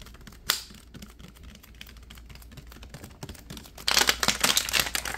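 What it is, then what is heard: Plastic water bottle being crinkled. Fingertips squeeze and crinkle the ridged thin walls of a clear plastic water bottle with a label and white cap, partly filled and held in both hands. Soft, bright plastic crackles tick along quietly, with one sharp crinkle early on. The crinkling then bursts into a louder, dense run of crackles for the last second or so.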